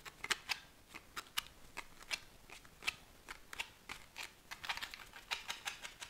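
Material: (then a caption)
Paperboard. A small paperboard tuck box with a deck of cards inside is held in one hand and shaken. It makes a steady run of about two dozen quick, dry, bright rattling clicks as the cards knock inside the box. Each tap is sharp and dies away almost instantly, with nearly no low end.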